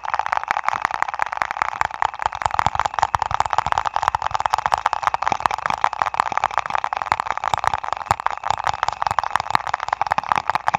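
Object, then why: Printed paper ice cream cup. A small printed paper ice cream cup, apparently with a lid, is held in the hands over a foam-covered mic and tapped and scratched with fingertips and nails. A dense, steady stream of quick, dry crackling taps and scrapes fills the whole clip, centred in the midrange with a papery brightness and almost no low end.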